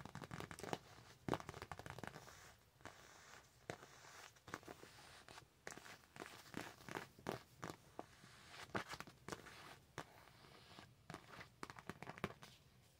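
A thin, flat Nightmare Before Christmas paper sticker sheet is held in both hands while long acrylic nails scratch and tap across its surface. The result is a quiet, dry run of crisp scratches, crinkles and short clicky taps, each stopping almost instantly, with brief louder taps scattered throughout.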